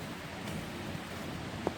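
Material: Nothing is struck.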